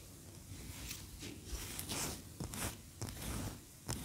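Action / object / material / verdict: scrape / wax pillar candle / wax / none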